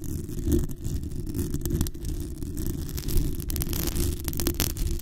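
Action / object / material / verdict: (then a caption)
scrape / metal mesh microphone grille / metal mesh / none. Long nails scratch and tap the sides and top of the hollow metal mesh grille on a black USB condenser microphone. The result is a steady, close, low, boomy rumble of scraping and thudding, with brief bright clicks and crackles scattered through it.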